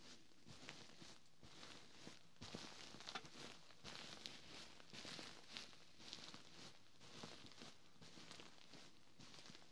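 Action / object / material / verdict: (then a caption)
scrape / quilted fabric pillow / fabric / none. Fingertips with short nails scratch across the ribbed fabric cover of a large, soft, white quilted pillow, and then a palm presses and rubs it. The result is a quiet, irregular series of soft, bright scratching and rustling strokes over a low, steady hum.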